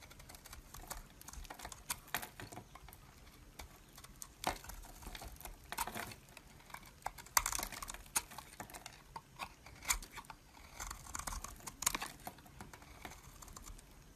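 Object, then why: Bar of soap. A metal blade shaves curls off the face of a solid rectangular beige soap bar held in a hand. Quiet, crisp scraping and crackling strokes come in irregular bursts, with a few louder, brighter cuts standing out against a soft background hiss.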